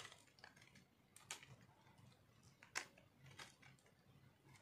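A metal knife scrapes flakes off a solid pink speckled dry soap bar held in one hand. Quiet, bright, crunchy scratches come at an irregular pace, with a few sharper crisp scrapes standing out. Each scrape ends almost at once, with no ringing.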